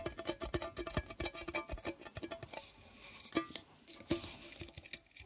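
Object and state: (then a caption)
Metal tea tin tapped. Fingers tap rapidly on a metal Kusmi Tea Kashmir Tchai tin that holds a little tea, producing a quick patter of light, dry taps with a short hollow ring around 330 Hz. The taps are dense at first, then thin out into a few sparser, slightly louder knocks before fading.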